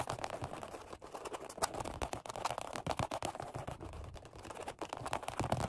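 Rapid fingertip tapping with crossed hands on a black padded workout bench seat of vinyl over foam. The taps come as a dense, continuous run of soft, muffled thuds with short decays and a low-mid body, punctuated by a few sharper, louder hits.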